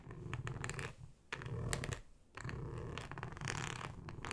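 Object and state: Flexible plastic cutting mat scratched with nails.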